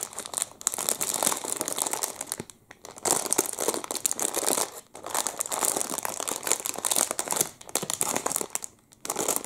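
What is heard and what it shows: A clear plastic wrapper around a full chocolate muffin is crinkled and pulled with the fingertips. Dense, bright crackling crinkles come in bursts, broken by brief quiet pauses.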